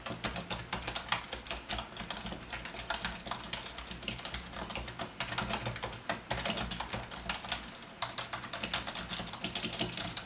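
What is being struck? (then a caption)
Plastic ergonomic keyboard. Fingertips of both hands type quickly on a full-size black plastic Logitech wave-style membrane keyboard with a hollow body. The result is a dense, steady stream of soft, bright clacks with short decays and occasional louder bursts of keystrokes. A faint, steady low background layer, possibly music, sits underneath.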